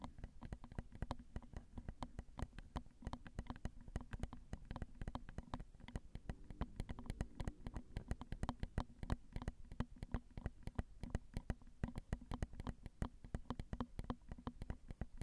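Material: Metal mesh.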